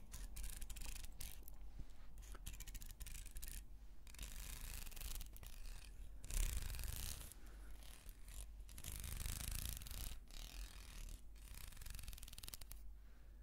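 Long nails slowly rake the teeth of a small, solid carved wooden comb and scratch across its carved surface. The result is a continuous, dry, bright scratching and rubbing texture with short pauses between strokes, over a steady low rumble.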